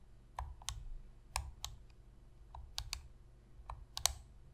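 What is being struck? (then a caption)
Plastic game controller tapped with fingernails. Long fingernail tips tap the face buttons and hollow plastic shell of a black PlayStation controller lying on a white surface. Each tap is a sharp, dry, bright click that dies away almost instantly, spaced irregularly over a faint low hum.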